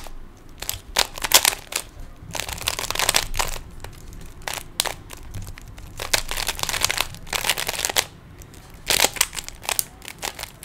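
Fingertips twist the layers of a small hollow plastic 3x3 Rubik's cube, producing rapid bursts of bright, dry plastic clicks and rattles. The clicks come in dense clusters separated by brief quieter pauses, with very short decay and little low-end weight.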